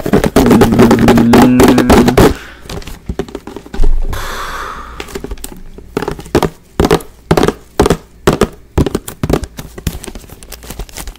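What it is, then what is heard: Plastic spray bottle tapped. Fingertips and nails rapidly tap and knock a large, clear plastic Fabuloso spray bottle with a pink trigger, hollow and partly filled with liquid, held close to the microphone. A loud, dense flurry of low, hollow thunks in the first two seconds gives way to quieter, sparser knocks, with a brief brushing hiss around the four-second mark. Each knock is short and dull, with almost no ring.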